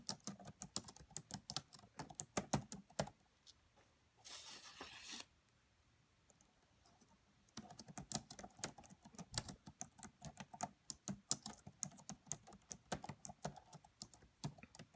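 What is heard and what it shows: Long manicured nails and fingertips of both hands tap rapidly on the black plastic chiclet keys of a red laptop with a hollow body, giving quick, bright, dry clicks and soft thuds. The typing stops after about three seconds, a short steady hiss fills a brief gap, and then it falls silent until the rapid tapping resumes and runs to the end.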